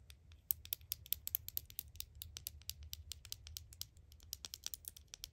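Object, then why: Small plastic deodorant stick replica. A small, hollow, black plastic Axe deodorant replica held in the palm is tapped and scratched with long acrylic nails. The result is a rapid, uneven stream of sharp, bright plastic clicks and ticks that die away almost instantly, over a faint steady low hum.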